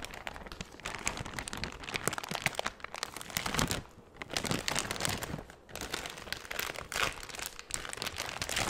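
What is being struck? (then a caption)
Thin clear plastic bag. A large, empty, thin clear plastic bag, the same one, is crinkled and crumpled with the fingertips. Dense, bright crackling and rustling runs throughout, with brief quieter dips near the middle before the crinkling picks back up.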